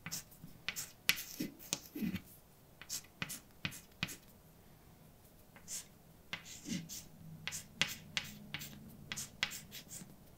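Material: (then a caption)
Chalk. A hand holding white chalk writes letters on a large dark chalkboard with a flat, solid surface. The chalk makes a quick series of sharp, bright taps and short scrapes as it strikes and drags across the board. Each sound cuts off almost instantly, with soft, low friction heard between strokes.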